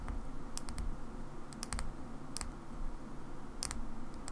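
Long nails tap a small black plastic Xbox battery pack on its side and end, giving slow, sharp, bright clicking taps in small clusters. The clicks are short with no ring, over a steady low background rumble.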